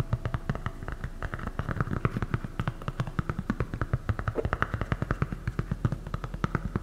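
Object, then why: EVA foam slide sandal. Long nails tap and scratch a light blue, thick EVA foam slide sandal with a hollow strap, close to the mic. Dozens of quick, dull, low thuds land in a steady irregular rhythm, each dying almost instantly, with a faint scratchy rustle between them.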